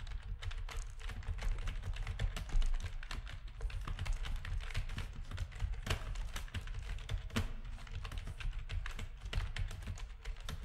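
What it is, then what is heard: Plastic keyboard being typed on. Rapid typing on a full-size black plastic backlit RGB gaming keyboard with a hollow housing, pressed with the fingertips of both hands. A dense, steady stream of short key clacks with a deep, hollow low-end thump and faint bright click edges, each dying out quickly.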